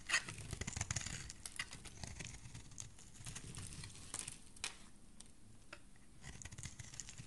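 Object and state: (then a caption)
Soap bar being shaved. A metal blade repeatedly shaves a solid oval green soap bar, with curls of soap falling away. The quiet, steady scraping carries crisp, bright crackles and soft ticks over a low, dull rustle, with a few sharper scrapes standing out.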